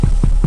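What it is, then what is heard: Baked-through damper bread. A damper loaf, baked in a cast-iron pot over charcoal and just turned out, is knocked on its bottom, giving dull, low thuds with almost no ring over a steady low hum. The dull thud shows the damper is cooked through, matching a kebab stick that had already come out clean.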